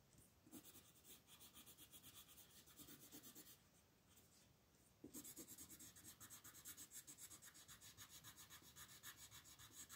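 A purple wooden colored pencil scratches and rubs across a thin sheet of white mandala paper lying flat on a table, in short shading strokes while a hand with long nails holds the sheet. About four quick, bright, raspy strokes per second are heard, easing to a softer, smoother rub in the middle before the strokes return louder and sharper.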